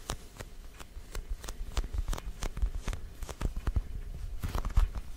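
A small, orange, glossy, hollow plastic jack-o'-lantern with a black face is tapped with fingertips and short nails. The result is a quick, uneven series of light, dry taps, each a short hollow low thud with a faint bright click on top that dies away almost at once.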